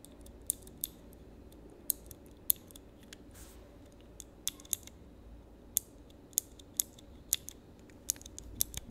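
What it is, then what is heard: Plastic mechanical switch tester clicking. Fingertips rapidly press the switches on a small handheld mechanical switch tester with clear plastic keycaps while holding it up. Sharp, bright, dry clicks come in an irregular series with almost no ring, over a faint low background hum.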